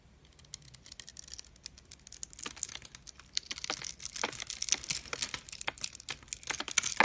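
A metal utility-knife blade scrapes and cuts small cubes off the surface of a pink, solid, hand-sized bar of dry soap scored in a grid and held in one hand, with crumbs falling onto a wooden table. Dry, bright crunching and crackling clicks start sparse and quiet, then grow denser and louder. Each snap is sharp and short with no ring.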